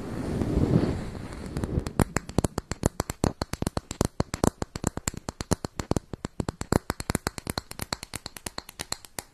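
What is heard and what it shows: Long white nails scratch and tap the top surface and edge of a closed round makeup compact with a brown textured lid, held in hands close to the mic. A low, scratchy rustle opens the clip, then gives way to a long, quick run of dozens of sharp, dry clicking taps with almost no ring.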